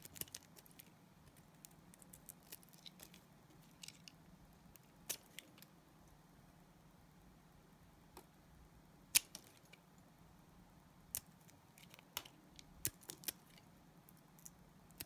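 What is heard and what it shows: A utility knife blade scrapes thin sheets off a solid, translucent green glycerin soap bar. Short, sharp, bright scraping clicks and crackles come at irregular intervals over a quiet, steady low hum, each one dying away almost instantly.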